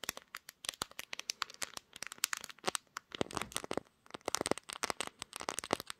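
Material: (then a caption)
Glass. Long green nails tap and scratch the pink glass back of a smartphone held in a tripod clamp, shown in a mirror, with a finger briefly passing over the lens. Many rapid, sharp, dry clicks mix with bright, scratchy crackles that have almost no low end and no ring, with a brief lull near the four-second mark before the tapping resumes.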